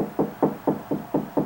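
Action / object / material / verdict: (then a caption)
knock / drywall wall / drywall / hollow. Knocking on a drywall wall past the stud, six evenly spaced hollow knocks with a low-mid resonance that dies away quickly. The wall sounds hollow there, with no stud behind it.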